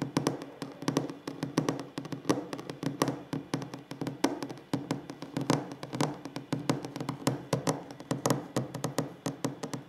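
Fingers tap rapidly on a wooden table, producing a steady stream of short, dry knocks with very little ring. The taps carry a warm low-mid body around 277 Hz, with occasional sharper, brighter ones standing out.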